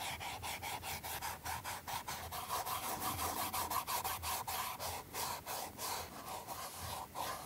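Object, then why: Leather shoe sole rubbed with a cotton ball. A cotton ball held in metal forceps is rubbed back and forth across the leather sole of a leather-soled flat shoe with a rubber heel tip, held in the hand. The strokes make a steady, dry, brushy scrubbing with a faint nasal tone around 1 kHz. The strokes come at about three per second, in a loose, uneven rhythm.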